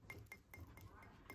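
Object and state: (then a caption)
Uncracked ceramic piece. A vintage ceramic piece, the second $9 one in the same colorway, is tapped in a series of light taps, each giving a clear, bright "ting" with a short ring. The clear tone indicates the piece has no crack, unlike the first piece, which sounds hollow.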